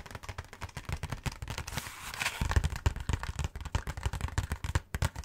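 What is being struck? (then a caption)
Cardboard box. A cardboard Hanuta snack box is held close to the face and rapidly tapped and scratched with fingertips and nails. The result is a fast, close run of dull, bassy crackling taps, with a brief brighter scratchy rustle midway before the tapping picks up again.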